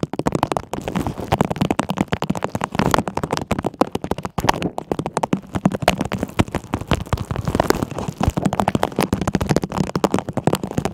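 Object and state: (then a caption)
Plastic tumbler filled with water beads. A medium clear plastic tumbler with a green lid, filled with blue and green water beads and silver tinsel and wrapped with silver tape around the base, is held in both hands while long manicured nails scratch and tap its sides. The result is a dense, continuous stream of quick crackly clicks and scratches with a low, muffled body and almost no ring after each tap.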